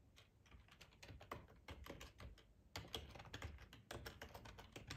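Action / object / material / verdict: tap / plastic ergonomic computer keyboard / plastic / none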